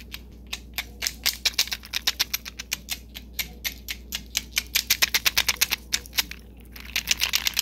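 Fingernails tap fast on the hard panels of a wide, white, glossy enamel bangle with gold metal trim dividers, held in both hands. Sharp, bright clicks come in quick bursts over a faint steady low hum. After a brief pause, a denser flurry of clicks ends the clip.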